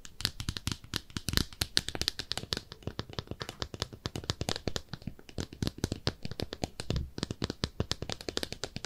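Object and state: Ceramic soap dish.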